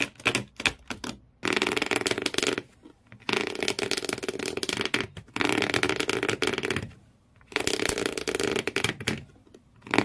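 Fingernails, then thumbnails, scratch the corrugated cardboard floor inside an empty shoe box. Dense, bright, raspy scratching comes in sustained bursts separated by short silent pauses, with a few quick scrapes at the start.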